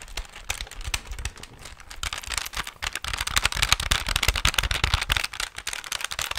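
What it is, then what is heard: Plastic pocket calculator being tapped. Fingertips and nails rapidly tap the plastic keys and hollow casing of a handheld plastic pocket calculator with a display. The result is a fast, irregular stream of short, dry, bright clicks and clacks, with some low thumps, growing denser and louder in the second half.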